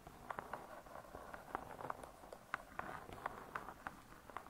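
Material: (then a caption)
Laminated board. Long nail tips tap and scratch the laminated board cover of a closed spiral-bound hardcover cookbook. A quiet, irregular run of light, dry clicks sits over a soft, continuous scratching hiss, with the taps cutting off instantly.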